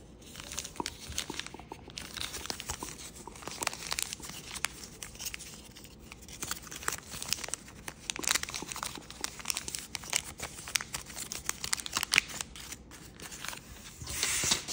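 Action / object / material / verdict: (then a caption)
scrape / thin folding paper sheet / paper / none. Fingers fold a single thin sheet of kaleidoscope-patterned paper into an origami crane. A steady stream of sharp, bright crinkles, creases and papery rustles runs throughout, with very little low end and no lingering ring.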